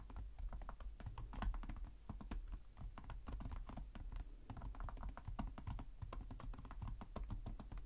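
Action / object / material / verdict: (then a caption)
tap / plastic laptop keyboard / plastic / none. Fingertips of both hands type rapidly and continuously on the low-profile plastic chiclet keys of a black laptop with a hollow body. The result is a steady, quiet stream of short, dry clicks and soft tapping thuds, each dying away almost at once, with a dull low body beneath a faint bright tick.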